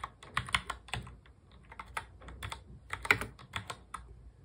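A full-size black plastic mechanical keyboard is typed on quickly with the fingertips of both hands. About fifteen sharp, bright clicky keystrokes come in an uneven run, each dying away almost at once with a faint low thump underneath.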